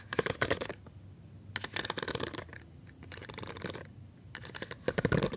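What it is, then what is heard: Silicone pop-it fidget toy. A rainbow silicone pop-it fidget toy with hollow bubbles is held in one hand while fingertips and palm press and pop the bubbles. Quick bursts of short, dry, crackling pops and scratchy rubbing come in four clusters, with quiet gaps between them.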